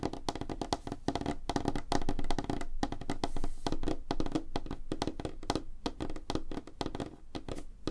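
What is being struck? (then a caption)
Wooden tabletop. Fingertips and nails of both hands tap fast on a flat, solid, light-colored wooden tabletop, heard up close. The taps come as a quick, uneven flurry of short, dry knocks with a warm low-mid body and very little brightness, each dying away almost at once.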